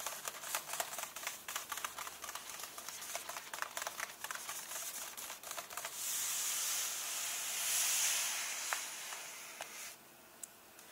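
Fingertips and nails tap and scratch the paper pages of an open hardcover book, lying on the same illustrated spread, in a quick, uneven run of crisp, bright clicks. After about six seconds, the hands switch to a steady rubbing across the paper that makes a continuous high, airy hiss. The sound then drops to a quiet rustle with a few last light taps.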